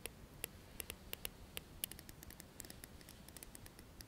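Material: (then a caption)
Plastic. A dark plastic comb is held upright while its teeth are strummed and flicked with the nails. About two dozen short, dry, bright clicks and ticks come in an uneven run, each dying away almost instantly over a quiet low rumble.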